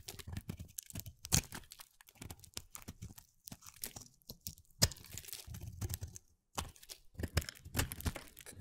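A pale mint, hand-sized solid soap bar carved into a shape is shaved with a utility knife blade, cutting and scraping through it. The sound is a rapid series of crisp scrapes and crunchy tearing cuts with bright hiss, two sharper cracks, and a short silent pause near the end.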